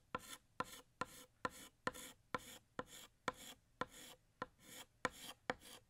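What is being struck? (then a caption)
Chalk stick on a chalkboard. Fingertips hold a blue stick of chalk and draw a bottle outline on a large, flat, solid black chalkboard. Twelve short, scratchy strokes are heard, each a sharp bright scrape with a faint squeaky tone around 500 Hz that fades quickly.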